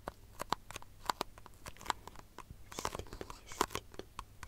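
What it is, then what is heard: Thin plastic cup tapped and scratched. Long fingernails tap and scratch a small, empty, disposable white plastic cup turned upside down, its hollow body giving a light, hollow tone. Quick, dry clicking taps fall in an irregular stream, with bright scratchy crackles between them and each tap dying away almost instantly.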